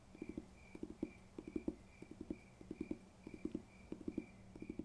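Fingers tap on a paper textbook in quick, uneven clusters of dull, short knocks with a low-mid body and almost no ring. A faint steady high tone hums in the background.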